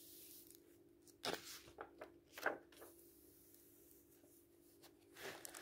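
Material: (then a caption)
Paper. Hands flip through an open paperback book with printed paper pages and photos, letting the pages fall. Quiet papery swishes and soft flutters come in irregular bursts, with bright rustling over a faint steady low hum.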